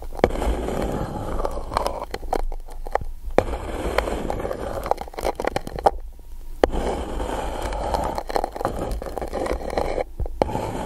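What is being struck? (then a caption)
Coated paper cup. A pencil is scratched along the surface of an empty gold-coated paper cup held over the microphone. It makes a rough, papery scraping centered in the mids around 500 Hz over a low rumble, with sharp clicks. Brief pauses fall near 2.5 and 6 seconds.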